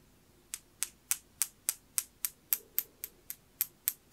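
A small, round, dark blue glossy glazed knob, ceramic or possibly glass, is tapped 13 times with a thin metal pin. Each tap is a sharp, bright tick that dies away almost instantly, with no low body. The taps come in a fairly steady but slightly uneven rhythm over a quiet background.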